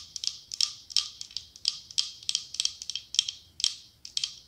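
Long acrylic nails tap and scratch a cylindrical glass candle jar with autumn leaf decals, filled with pale wax. Quick clusters of sharp, bright clicks ring briefly around 3.2 kHz, with a light scratching texture and almost no low end.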